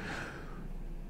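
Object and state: Nothing is struck.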